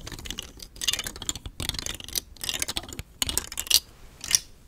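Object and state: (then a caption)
Plastic fidget toy, nails tapping and scratching. Long fingernails tap and scratch the edges of a palm-sized, hollow rainbow telescoping star fidget toy made of thin nested hard plastic rings, held in the other hand. The result is irregular bursts of bright, dry clicking and scratchy rasping with very little low end, each tap stopping almost instantly.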